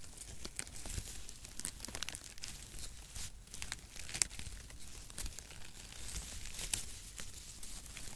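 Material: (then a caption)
Cardboard. Long strands of brown cardboard packaging shreds, held in both hands close to the mic, are rubbed and crinkled with the fingertips. The result is a steady, dense crackle and rustle, with bright, sharp crinkles and snaps rising above a soft low rumble.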